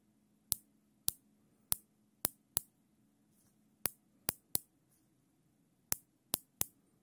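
A black nylon zip tie, its loop held steady in gloved hands, has its tail ratcheted through the head, producing 12 sharp, bright clicks in irregular groups. Each click is crisp and very short, with almost no ring, over a faint low hum.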